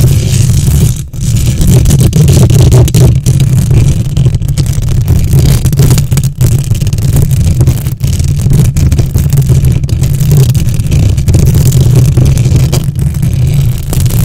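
Long nails on both hands rapidly scratch the hollow metal mesh grille of a silver condenser microphone. It produces a loud, dense, continuous scratching rumble that is almost entirely low and boomy, centered around 120 Hz, with only a faint high rasp. A few brief dips in level interrupt the scratching.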